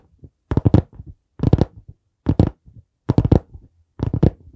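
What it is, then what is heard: Hardcover notebook tapped. Fingertips tap on the board cover of a dark brown hardcover notebook held at an angle beside the mic. Five bursts of quick, dull, low thumps come about once a second, each a short flurry of taps with almost no ring and little high end.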